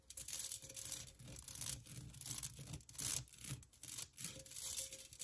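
Long nails scratch and tap on the perforated cutout walls of a hollow pink metal pen holder cup. The result is a run of bright, hissy scraping bursts with quick, light metallic ticks, mostly high-pitched with a faint low rumble underneath, rising and falling irregularly throughout.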